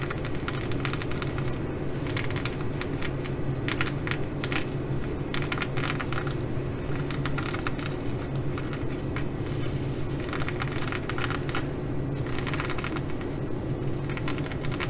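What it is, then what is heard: Sequin fabric bag. Long nails and fingertips scratch and brush across a flat fabric bag covered in blue plastic sequins. The result is a steady, dense crackle with bright flickering ticks over a constant low rumble.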